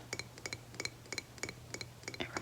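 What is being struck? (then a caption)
Candle jar. Fingernails tap on a candle jar in a series of quick, often paired clicks. Each tap gives a bright, glassy clink with a brief ring over a faint steady low hum, sounding almost like glass.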